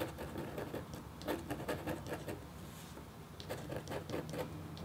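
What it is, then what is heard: Copper scratch art board being scratched. The metal tip of a red stylus makes short strokes across a thin, solid, flat black-coated copper-foil scratch art board. The result is a quiet, irregular series of dry scratching taps with a patter-like texture, centered low around 336 Hz with faint bright streaks over a soft low hum.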